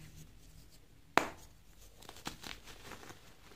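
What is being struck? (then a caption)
Magnesium carbonate chalk block. Small solid white magnesium carbonate gym chalk blocks are held in both hands and crushed, squeezed and rubbed with bare fingers into powder over a heap of loose chalk. A single sharp, bright crack rings out, followed by softer dry, crumbly crunches and scratchy rubbing as the material breaks down.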